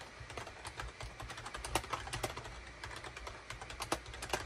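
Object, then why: Plastic computer keyboard. Fingertips type rapidly on a full-size gray and cream SHIPADOO K600 wired USB keyboard, with a hollow plastic case and plastic keycaps, resting on a desk mat. The result is a quick, irregular stream of short, sharp plastic key clacks that die away almost instantly, a few louder strikes standing out over a steady low hum.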